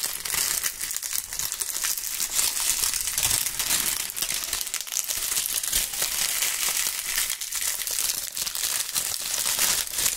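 Handfuls of dry brown autumn leaves are crushed and crumpled between gloved fingers right beside the microphone capsules. A dense, continuous, bright crunching and crinkling runs steadily for about ten seconds, almost entirely high-pitched, with little low end.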